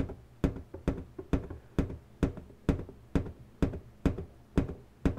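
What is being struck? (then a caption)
Inflated latex balloon. Long pointed natural nails tap and knock on the taut surface of an inflated, hollow pink latex balloon resting on a table. Eleven strong, evenly spaced knocks fall in a steady rhythm, with softer taps between them; each is a dull, low, hollow thunk with a short bright click on top that dies away almost at once.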